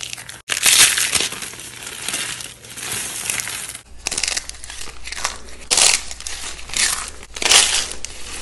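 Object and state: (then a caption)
Dry soap ribbons crushed. Fingertips crush and crumble thin strips and rolled ribbons of dry, cream-white bar soap resting on burlap, breaking them into small brittle flakes. Bright, crisp crunching and crackling comes in dense overlapping bursts, with several louder swells of crumbling between quieter stretches of fine crinkling.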